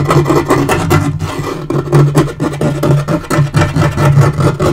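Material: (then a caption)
Laminate. Fingernails scratch quickly back and forth across a dark wood-grain laminate portable table top. The result is a steady, rapid run of rough scratching strokes with a strong low, muffled body and little brightness, rising and falling in loudness without pause.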